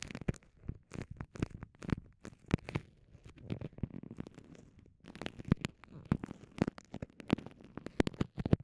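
Long nails and fingertips crinkle and squeeze a small, transparent, soft vinyl pouch with microphones inside. The result is a close, steady stream of quick crackling and rustling bursts with a deep, muffled low end, separated by short soft pauses.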